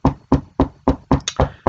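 A wooden desk is knocked on with a steady series of seven loud, dull, low-heavy thuds as a "knock on wood" gesture. Each thud dies away quickly, and the knocks are strong enough to shake a laptop resting on the desk.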